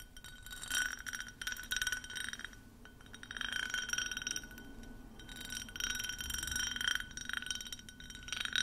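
A clear, hand-sized ribbed glass tumbler, hollow and empty and held up, is tapped and scratched with long manicured nails. Bright, rapid clinks and raspy scratching sweeps come in bursts, with short rings and a thin glassy tone near 3.8 kHz over a quiet background.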